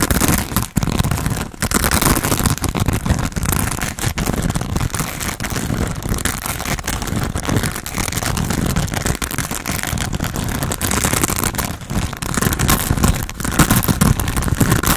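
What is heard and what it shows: Fingernails scratch and tap a hand-sized grey textured foam sponge on a tan foam base, solid and porous, held in both hands. The result is a dense, continuous crackling rustle, heavy in the low end with quick soft taps and little ring, holding steady for the whole clip.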